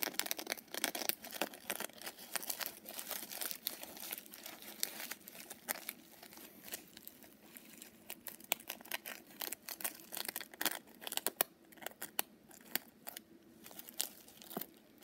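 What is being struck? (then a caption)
Small padded fabric coin purse covered in sequins. Long purple nails scratch across a small, soft, padded pink sequined fox coin purse, flipping the sequins. The result is a quiet, dense run of bright, crinkly scratching and rapid clicking ticks with almost no low end, thinning out slightly toward the end.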